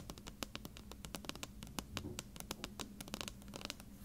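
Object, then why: Plastic contact lens solution bottle with paper label. Long red-painted nails scratch and tap along the paper label of a medium plastic bottle of contact lens solution, hollow and partly filled. The result is a quiet, rapid stream of crisp clicks and scratchy rustles, each tap dying away almost instantly over a faint low hum.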